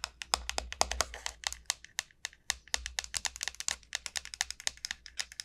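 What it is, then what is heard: Dried gourd shell tapped with nails. Long nails tap along the shell of a large, hollow, dried gourd, making a quick, uneven run of sharp, dry clicks. Each tap is bright with almost no ring and little low end, and a faint low hum sits underneath.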